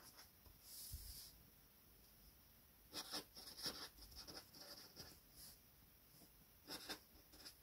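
A gold felt-tip marker scratches and rubs across a flat sheet of white paper lying on a table in short strokes. The quiet, bright, hissy squeaks come in irregular bursts, with a longer rub near the start and clusters of quick strokes later on.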